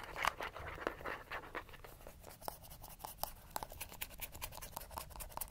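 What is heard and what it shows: A small, hollow, cylindrical gold-yellow plastic sunscreen bottle with a rounded cap, likely partly full, is held in one hand and scratched fast with short fingernails along its body and cap. The result is a quiet, rapid run of dry, crackly scratches with sharp clicks, a bright hiss on top, and a hollow plastic tone near 1.2 kHz. Each stroke stops almost at once, with no ring.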